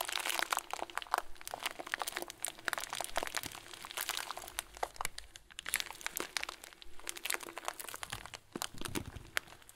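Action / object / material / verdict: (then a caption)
scrape / plastic bag filled with small foam beads / plastic, foam / none. A clear plastic bag full of tiny white foam beads, with a loose plastic tail, is squeezed with both hands and thumbs. It gives off steady, dense crinkling and crunching for about ten seconds, a bright rustle of many small overlapping crackles that rise and fall with each squeeze.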